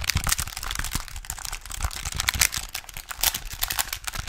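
A small plastic pocket calculator with a display and button keys is held upright while fingertips and nails tap and scratch its keys and casing. The result is a dense, continuous run of quick, bright plastic clicks and crinkly scratching with short, dry decays and a little low thump beneath.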